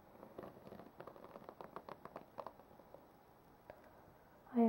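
Fingertips and long nails rub and scratch across the white-tipped plastic bristles of a black plastic paddle hairbrush, producing a quiet run of crisp, dry ticks and scrapes in the mids. The flicks are dense through the first two and a half seconds, then thin out to a few isolated ticks before a louder tonal sound cuts in at the very end.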